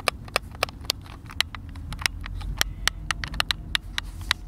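Thumbs tap the buttons and sticks of a hand-sized, hollow white plastic Xbox controller, producing a rapid series of sharp, bright clicks with almost no ring. A steady low rumble runs underneath the taps.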